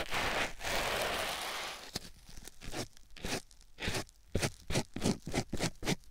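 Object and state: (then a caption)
Foam sponge rubbed on a silicone ear microphone. A white rectangular foam sponge block, held in the fingertips, is rubbed and scratched against a silicone ear microphone. A dense, loud, broadband rustle fills the first two seconds and ends with a sharp click. It gives way to a series of short, uneven scratchy crunches with bright, airy tops and quiet gaps between them.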